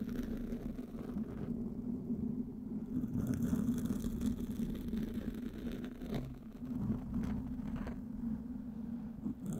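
Fingertips and nails of both hands scratch and rub a black, soft, porous foam windscreen on a microphone. The result is a continuous, dense, scratchy rustle with a steady low hum near 240 Hz and a rumbling bottom end. It stays even in loudness, with a few brief brighter crackles.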